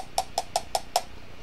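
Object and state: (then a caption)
Metal (zinc alloy) device chassis. A battery taps five times at a steady pace against the zinc alloy chassis of a Teslacigs XT 220W dual 21700/20700/18650 vape mod. Each tap gives a short, bright click with a pitch near 700 Hz that dies away almost at once. The sound shows the body is metal, not plastic.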